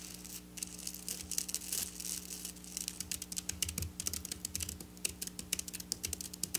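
Long black nails rapidly tap and scratch across silver sequin fabric, making a dense stream of sharp, bright clicks and crisp scraping rustles. The bursts come quickly and unevenly over a faint, steady low hum.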